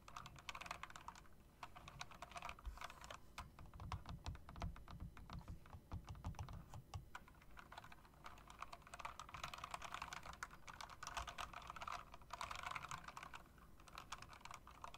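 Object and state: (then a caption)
Mechanical keyboard with round typewriter-style keycaps. Fingertips with long dark acrylic nails type rapidly on an RGB-backlit mechanical keyboard with round typewriter-style keycaps made of plastic with chrome metal rims. A dense, continuous stream of sharp, short clicks and clacks rattles on throughout, with a low thudding undertone beneath the bright key snaps.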